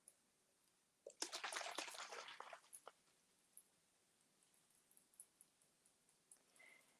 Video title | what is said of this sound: #LIVE English 🙋‍♀️ - DB Inspo Box from Tracy’s Fancy Alice – Finishing our tray with Black Wax 🤩 | you could really hear the liquid moving in the jar, and then it got like more and more silent